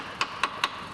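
Three light taps with the flat plastic end of a corrosion assessment tool on a steel vehicle body panel give short, bright clicks with a quick ring around 1 kHz. The panel sounds like good metal, not the duller sound of excessively corroded metal or metal treated with filler.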